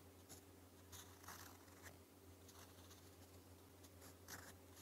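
A gold metal fountain pen nib writes Korean in purple ink on a thin, flat, lined white paper sheet. Soft, dry scratches come in short bright bursts as the nib strokes across the page. A steady low hum runs quietly underneath throughout.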